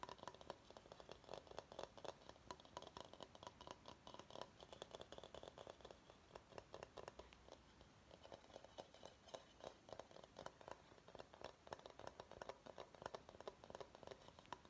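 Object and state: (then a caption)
Bamboo salad bowl. Fingernails tap and scratch the underside of a medium, hollow, empty bamboo salad bowl held up in the air. A quiet, rapid stream of short, dry clicking taps mixes with light scratching, easing briefly midway before resuming. Each tap dies away almost instantly, with a faint hollow tone.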